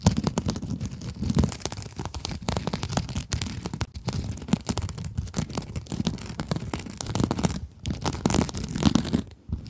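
Long acrylic nails scratch a small pink glitter mesh scrub sponge with a sparkly mesh surface. The result is a steady run of dense, rapid, crinkly scratching and rasping with a low, rumbly body. It eases briefly near the end before resuming.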